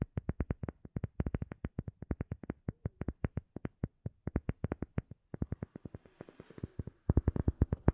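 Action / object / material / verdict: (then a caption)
tap / rubber sheet / rubber / none. A rubber sheet is tapped in a fast, steady run of about sixty short, dull, low-pitched taps, each dying away almost instantly. The taps pause briefly just after five seconds, soften with a faint hiss around six to seven seconds, then return noticeably louder for the final second.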